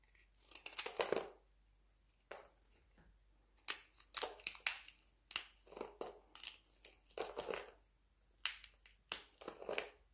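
Fingertips snap and crumble a pile of thin, brittle flakes cut from a light blue dry soap bar, with a utility knife briefly present. Short bursts of dry, bright crunching and crackling come in clusters separated by brief silences. The flakes break with a solid, crisp crunch and almost no low end.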